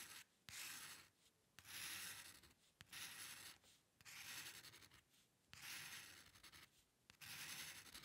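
The metal nib of a dip pen scratches across a flat sheet of white drawing paper while drawing hair lines. It makes bright, dry, hissing scrapes in repeated long strokes, separated by short quiet pauses.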